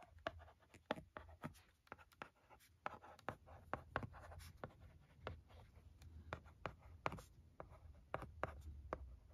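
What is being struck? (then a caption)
Plastic LCD writing tablet with stylus. The tip of a pencil-shaped stylus scratches and taps across the screen of a flat, thin plastic LCD writing tablet lying on carpet as words are written. The result is a quiet run of short, dry clicks and light scraping strokes over a soft low hum.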